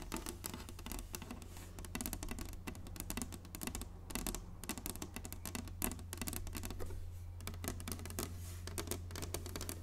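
Long nails on both hands tap rapidly across the solid, flat surface of an inlaid wooden chessboard, making a dense stream of short, dry clicks and light scratches with a bright edge. A steady low hum runs underneath throughout.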